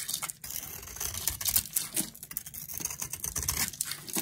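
A flat metal blade scrapes and carves thin flakes off the surface of a solid, palm-sized round bar of dry pink soap held in a hand with long nails. The sound is a steady stream of crisp, bright scratching and shaving, with short rough bursts that stop almost instantly. It is mostly high, airy texture with little low end.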